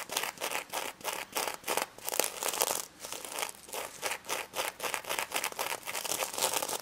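Long red nails scratch back and forth across the reversible plastic sequins of a small pink stuffed plush pig toy. It makes a rapid series of short, bright, crinkly scratching bursts with no low end and almost no ring between strokes.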